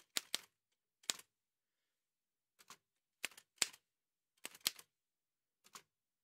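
Gloved fingertips in white satin gloves type on the keys of a large, heavy vintage Remington manual typewriter with a dark painted metal body and paper loaded, while the carriage moves. Sharp, bright metallic key strikes come in short, irregular clusters separated by silence, each snapping off almost instantly with no low-end thump.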